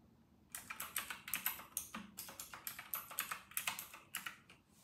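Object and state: Plastic mechanical keyboard.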